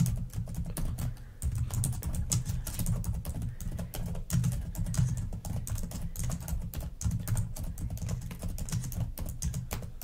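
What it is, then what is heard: Plastic laptop keyboard. Long fingernails on both hands type quickly on the plastic keys of a black laptop keyboard, making a dense stream of sharp, bright clicks. A steady low hum sits underneath the whole time.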